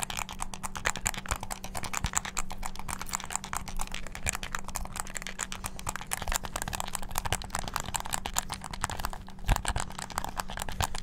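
Fingertips rapidly press the buttons of a hollow black plastic game controller with a string tied around it. The result is a dense, continuous stream of fast, sharp plastic clicks and taps that stays at a steady level, with a faint constant low hum underneath.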